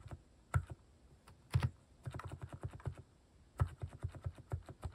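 Fingertips type on a compact mechanical keyboard fitted with cat-shaped plastic keycaps, giving fourteen short, deep, thocky keystrokes with little ring. The presses come in uneven bursts separated by brief pauses, with a few louder, heavier strikes standing out.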